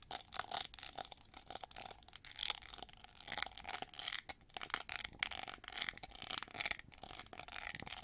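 Long nails scratch the ridged back and edge of a hand-held, hollow, gold-plated plastic winged hair brush with red bristles. The result is a dense run of crisp, bright, rasping scratches with very little low end, rising and falling in quick bursts.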